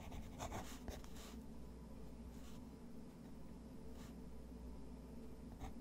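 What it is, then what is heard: Textured watercolor paper. A fountain pen nib scratches short, quick hatching strokes across a thick, textured white watercolor paper sheet resting on a wooden desk. Soft, dry scratching comes in brief bursts over a steady low hum, with a few brighter strokes standing out near the start and end.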